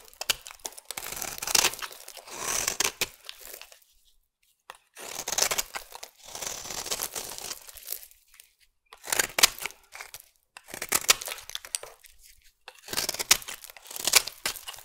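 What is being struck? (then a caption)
Bar of soap cut with a metal blade. A metal blade cuts chunky flakes from the edge of a solid peach bar soap. Each pass makes a bright, crisp scraping crunch with a crumbly, tearing texture, separated by brief silences.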